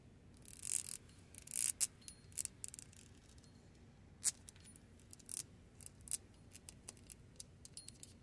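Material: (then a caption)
Metal. A fingertip with a long light-pink nail turns the ridged knob of a silver metal combination dial on a safe, which has a numbered ring, clicking and tapping against the metal. The result is a quiet, irregular series of short, bright, dry clicks and ticks with some brief scraping, over a low, steady background hiss.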